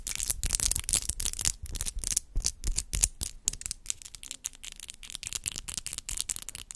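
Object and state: Acrylic nails clicking.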